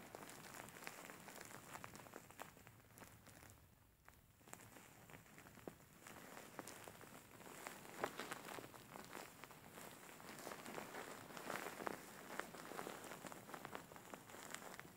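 Fingers squeeze and scratch a large, soft, grey faux fur pillow with soft filling. The result is a quiet, continuous, brushy rustle with dense, irregular crackly scratches that are mostly mid-to-high and bright. There is a brief lull near 4 seconds, and the scratching grows a little busier toward the end.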